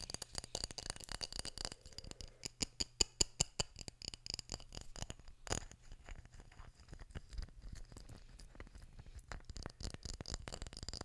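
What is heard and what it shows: Fingertips and nails tap and scratch a small glass jar with a metal screw lid and paper label, partly filled with red items. Quick, irregular, quiet ticks and clicks with a bright, high edge follow one another closely, with a few louder taps near the middle and a faint steady low hum underneath. Each tap is dry and dies away almost instantly with no ringing.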